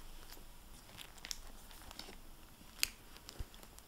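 A closed, solid, medium-sized hardback library book, "Double Eagle," with a glossy plastic-covered paper dust jacket lies on a wooden table beside an unused microfiber cloth and is turned from back to front. Long painted nails and fingertips then tap and rub the cover, producing quiet, bright crinkles and scattered sharp clicks over a soft, steady hiss. The loudest tap falls near the middle of the clip.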